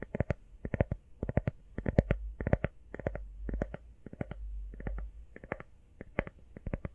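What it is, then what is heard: Rubber phone case. Fingertips and nails tap quickly on an empty, hollow-backed teal rubber iPhone case. The result is rapid clusters of short, dry, muffled taps with a dull, low thud, separated by brief pauses over a faint low rumble.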